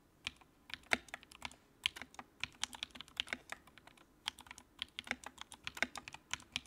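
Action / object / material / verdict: tap / plastic mechanical keyboard / plastic / none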